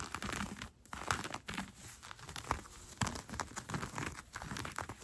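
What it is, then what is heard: Cotton fleece sweatpants being scratched. Red-painted nails scratch along the gathered elastic waistband of brown cotton fleece sweatpants being worn. The result is a dense run of quick, dry scratching and crinkly rustles with short bright transients and brief pauses, heard up close.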